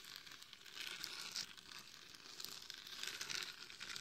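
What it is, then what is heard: Glitter-coated mannequin head scratched with nails. Long nails scratch the top, forehead and sides of a glitter-covered hollow mannequin head microphone. The result is a soft, continuous, crinkly scratching that sits almost entirely in the bright high range, with little low end and short, quickly fading grains.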